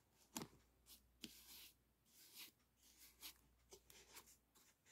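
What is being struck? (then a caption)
Aluminum foil flexible duct. A hand holds a hollow, ribbed aluminum foil flexible duct while a brush rubs along its foil folds. The result is quiet, bright, crinkly scraping strokes mixed with a few sharper ticks. The strokes come in an irregular rhythm against a faint low hum.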